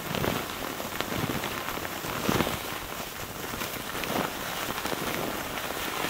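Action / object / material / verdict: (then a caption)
scrape / thin tissue paper sheet / paper / none. A crumpled sheet of thin, soft white tissue paper, loosely bunched and held in both hands over a wooden table, is squeezed and crinkled with the fingertips. It makes a steady, dense crackling rustle, like light rain, with bright, airy texture and a few slightly louder crunchy swells.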